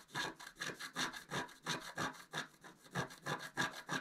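A wooden stylus tip scratches away the black coating around a squirrel motif on a flat, black, wax-coated scratch-art paper card lying on a table. About fourteen quick, dry, raspy strokes come at roughly three per second, each a bright, papery scrape with little low end. Each stroke ends abruptly without ringing.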